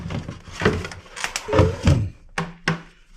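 A plastic component from a scale, being taken apart, is tapped. It gives a series of short, dull, low thunks with little ring. The last two taps stand apart clearly near the end.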